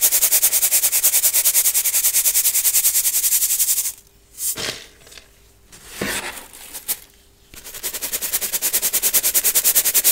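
Clumped baking soda is sifted and rubbed through a small gold-colored brass mesh sieve held over a clear glass bowl of powder. It gives fast, rhythmic, bright crunchy scraping clicks, about three per second. The clicking runs for the first four seconds, drops to a few softer isolated scrapes, then resumes steadily to the end.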